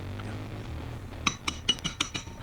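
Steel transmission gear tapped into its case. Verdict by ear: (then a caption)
Seated. After a low background hum, several sharp, bright metallic taps ring out as the steel sixth gear of a 2008 Ultra motorcycle transmission is driven into its case with a flat plate and extension. The clunk and change in tone show the gear is fully seated, and it sounds solid.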